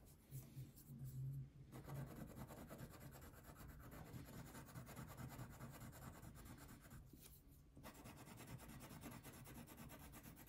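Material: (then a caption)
Paper. A red or pink wax crayon is rubbed in steady strokes across a thin paper coloring sheet resting on a table. It makes a continuous, soft, grainy scratching with bright hiss, briefly easing twice, over a low hum.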